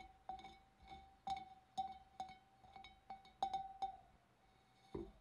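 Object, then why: Glass fish bowl. Long dark-painted nails and fingertips tap the neck and wavy rim of a large, empty, hollow clear glass fish bowl. A run of light, uneven clinks follows, each with a short glassy ring near 780 Hz and bright overtones, ending with one final tap after a brief pause.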